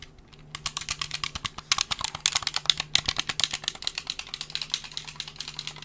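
A hollow black plastic gamepad, held in both hands and moved toward the camera, is clicked on its buttons and triggers while fingertips tap its shell. After a quiet half second, a rapid, uneven stream of sharp, bright plastic clicks and taps follows, each dry and short with no ring.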